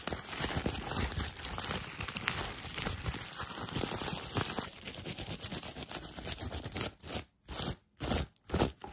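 Fingertips and nails rub, scratch and crinkle a thin, flexible sheet of clear, air-filled plastic bubble wrap held up close. A dense, continuous crackling and crinkling with bright high hiss runs for about seven seconds. It then breaks into a few short, separate bursts of crinkling with near-silent gaps between them.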